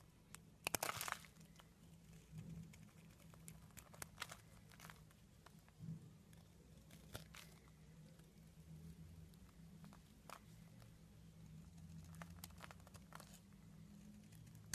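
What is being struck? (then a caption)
Bar of soap. A solid purple soap bar held in the hand is scraped with the tip of a metal blade, shaving off powder and flakes. Quiet, dry crinkling scrapes come in short bursts with sharp, bright ticks, over a steady low hum. The loudest burst is near the start.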